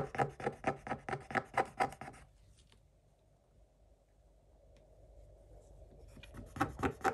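A wooden stick scratches the black coating off a scratch-art coated paper page, scattering flakes. A quick, fairly steady series of dry, raspy strokes runs for about two seconds, then gives way to a faint, near-silent stretch. A few more scratches return at the end.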